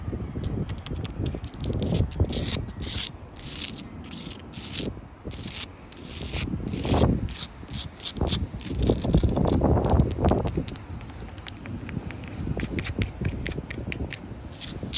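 Long blue acrylic nails scratch and rub across the gritty surface of a solid wall of rough-cut, mortared sandstone blocks. Dense, irregular bursts of dry scraping and rasping carry a low rumble beneath bright, hissy streaks, with short pauses between strokes.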